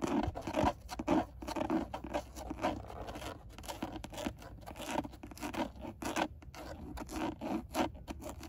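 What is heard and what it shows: Long nails scratch and tap across the textured black plastic airbag cover of a car steering wheel, a hollow rigid panel. The result is a dry, uneven run of short scratchy rasps and light clicks, centered in the low-mid range, with little ring after each stroke.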